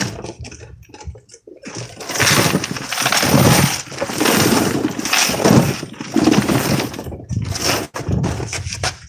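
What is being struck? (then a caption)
Gumball vending machine with coins inside. A gumball vending machine with coins inside is picked up and shaken, producing a dense, continuous metallic rattle and clatter of coins that swells and fades in waves. The shaking sounds like it holds a lot of coins.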